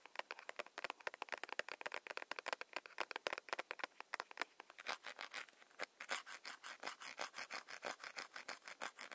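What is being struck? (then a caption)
Soft plastic hand cream tube. A soft plastic hand cream tube held in the hands is tapped and rubbed with long nails, giving about sixty quick, crisp clicks with a dry, bright edge and no low end. The taps start sharp and irregular, then after about five seconds they settle into a steadier, faster rhythm with a scratchier rubbing texture.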